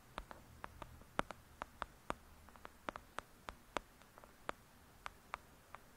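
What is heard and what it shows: Long acrylic nail tips tap rapidly on the top edge and cover of a thick, solid "Lady Midnight" paperback book lying flat. About nineteen short, dry, clicky taps land at an uneven pace, each dying away almost instantly, with a bright top over a quiet, hushed background.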